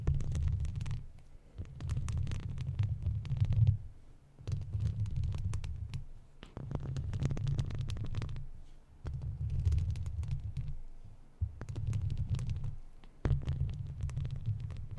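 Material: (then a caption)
Metal mesh. Long plastic fake nails on both hands scratch a hollow silver wire-mesh microphone grille, with the mouth kept closed. The scratching comes as repeated bursts of dense, muffled, low rumbling, sitting mostly below 200 Hz around 66 Hz, with brief quieter gaps between bursts.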